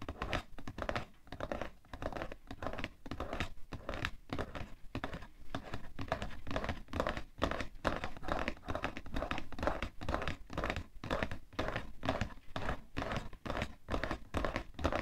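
A cardboard tissue box is held at the sides while fingernails tap fast and scratch across its side panels. The result is a dense, uneven stream of short, dry taps with a hollow, low, thuddy body, mixed with papery scratching and crinkling that fades almost instantly after each touch.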